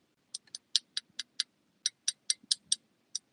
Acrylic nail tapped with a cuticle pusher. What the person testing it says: Hear that tap sound? That sound is dry.